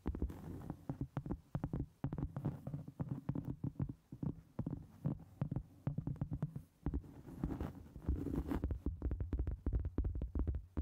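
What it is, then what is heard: Cork board tapped and scratched. Long acrylic nails tap and scratch the top surface of a round solid cork board resting on a microphone. Fast, dense streams of short, dull, low thuds come in bursts with brief pauses, over a constant deep rumbling hum and faint brighter scraping.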